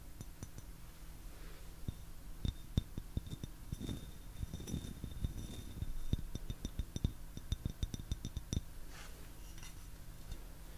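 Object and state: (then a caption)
Ceramic teapot tapped with fingernails. A medium-sized, hollow, turquoise glazed ceramic teapot with a lid and bamboo handle is held up by the handle and tapped with fingernails. Many short, sharp clinks come in quick irregular runs, each with a brief high, bright ring, over a steady low hum.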